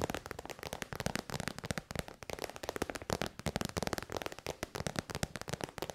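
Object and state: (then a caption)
Faux-leather pouch tapped with nails. A small, shiny pink metallic faux-leather zip pouch of synthetic vinyl or PU, hollow and soft-sided, is held in the hand and tapped and scratched with long white almond-shaped nails. The result is a rapid, dense stream of dry, crackly clicks and scratchy rustles with almost no ring.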